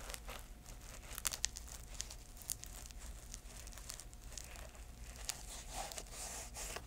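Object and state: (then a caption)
Canvas shoe scratched and tapped. An empty grey canvas velcro shoe is held in the hands while long nails scratch and tap its canvas upper and insole. The result is quiet, dry, crinkly scratching broken by sharp, bright taps over a steady low background hum.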